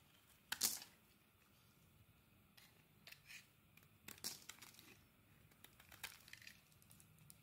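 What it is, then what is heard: Bar of soap being scraped. A utility knife scrapes and cuts shavings from the surface of a solid purple bar of soap held in the palm. Quiet, bright, crisp scraping and shaving sounds come in short bursts, with two sharper cuts standing out early on and midway. Scattered lighter scrapes follow, over faint background hiss.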